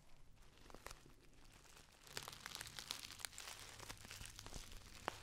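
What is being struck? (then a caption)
Metallic foil tea pouch. A Dammann metallic foil tea pouch, held near the face, is crumpled and squeezed with fingers and long nails. Soft, sparse crinkles in the first two seconds give way to denser, brighter crackling and sharp snaps over a faint low hum, with one last crisp pop near the end.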